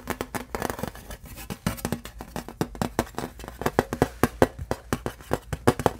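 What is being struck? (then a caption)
Thin embossed aluminum license plate. Fingertips and nails tap and scratch the raised letters on the bare silver back of a thin embossed aluminum license plate held upright. The result is a rapid, uneven series of short, dry clicks with a faint metallic ping around 520 Hz, each dying away almost instantly, with soft scraping between them.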